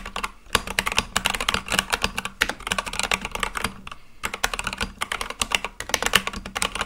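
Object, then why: Mechanical keyboard with plastic keycaps. Fingertips type quickly and continuously on a full-size Akko mechanical keyboard with white and light-blue plastic keycaps on a black case. The result is a dense stream of sharp, bright clicky keystrokes with very short decay and a peak near 3 kHz. Brief lulls come around 0.3, 2.4 and 4 seconds.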